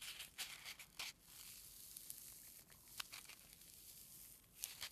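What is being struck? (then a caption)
Foam packing peanut. A single small white solid-foam packing peanut is squeezed and rubbed between a thumb and fingertips with short nails, held close. It gives bright, squeaky crinkling and tearing-like crackles over a soft rustle. Sharp bursts come near the start, around the middle and again at the end.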